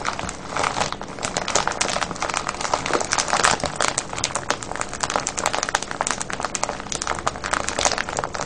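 Fingertips and nails squeeze and crinkle a medium clear plastic cellophane bag full of foil-wrapped candies, with a red label and ribbon tie, lying on a wooden table. A dense, continuous crinkling of bright, crackly rustles goes on throughout, with quick, sharp snaps rising and falling in a steady flutter and little low end.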